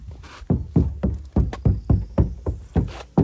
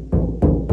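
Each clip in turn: First: damped, solid-sounding car door skin. Second: undamped car door skin, sounds like bare sheet metal.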